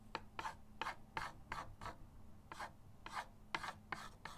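The side of a white chalk stick is rubbed in quick hatching strokes across a flat, solid chalkboard in a wooden frame resting on a table. Eleven short, dry, scratchy rasps come in an uneven rhythm, each a bright burst centered around 900 Hz that stops almost at once. A faint steady low hum runs underneath.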